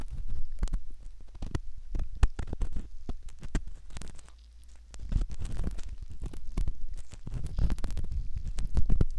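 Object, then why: Silicone ear model with metal ear pick. A metal ear pick scratches at the canal entrance of a soft silicone ear model, making dense, close-up scraping and crackling strokes over a deep, muffled rumble. The scratching eases briefly around the middle, then returns steady and busy to the end.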